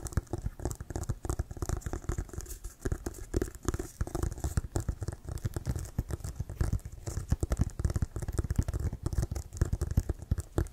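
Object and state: Leather American football.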